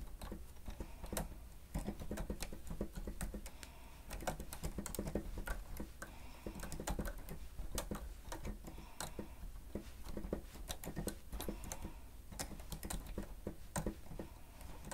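Fingertips of both hands press the keys of a grey plastic stenotype writer with a screen, set on a stand, in rapid typing strokes, with paper lying idle on the table behind. The result is a steady, dense patter of short, dry key clicks and taps, with a low thump under each stroke and little ring.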